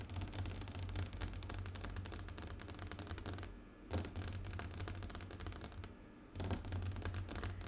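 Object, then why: Glass tabletop tapped with fingernails. Fast fingernail tapping on a glass tabletop produces dense, rapid, sharp clicks with bright highs and a low hum underneath. The tapping breaks off twice for brief pauses before resuming.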